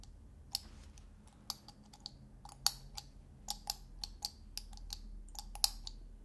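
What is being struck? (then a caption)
Metal screw lid of a glass salt shaker. Fingertips and nails tap and twist the domed metal screw lid of a small glass salt shaker held in one hand. About 14 short, bright, dry clicks and ticks come at an uneven pace, each dying away almost at once over a faint low hum.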